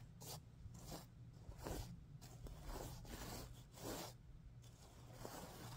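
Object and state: Sequin pillow being scratched.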